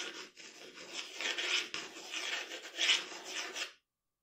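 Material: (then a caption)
Paper. The graphite tip of a wooden pencil scratches across a flat sheet of drawing paper lying on a dark table while drawing details of a portrait. A steady, bright, dry scratching rasp swells and fades with each stroke, with almost no low end, then stops abruptly just before the end.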